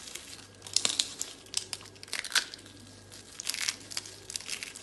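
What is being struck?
Soap flakes.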